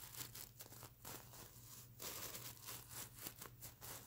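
Long fingernails on both hands scratch and brush across the plastic sequins of a stuffed fabric mermaid unicorn plush pillow. The result is a quiet, bright, crinkly scratching that rises and falls in short brushing strokes, over a steady low hum.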